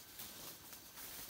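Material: Nothing is struck.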